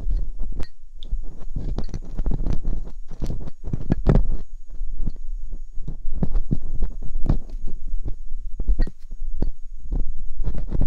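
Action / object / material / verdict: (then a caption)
scrape / silicone ear mold of a binaural microphone scraped with a metal pick / silicone / none. Metal dental picks scratch inside the canals of silicone ear molds on a binaural microphone. The result is a steady run of close, muffled scrapes and soft thumps, almost entirely deep and rumbling, with quick bright ticks over a faint steady high whine.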